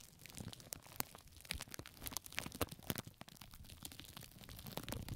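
Fingertips and long nails of both hands scratch and crinkle loose pink plastic cling film covering both microphone ears. Dense, crackling rustles mix sharp, bright ticks with a soft low rumble, staying steady and quiet throughout.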